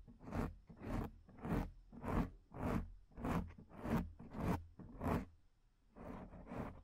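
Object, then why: Foam microphone windscreen. Long, dark-painted fingernails on both hands scratch a soft, porous black acoustic foam windscreen on a studio microphone. The result is a regular series of muffled, bassy scratching strokes, about one every 0.6 seconds, each swelling and fading with a faint airy hiss on top. The series ends with a softer, drawn-out rub.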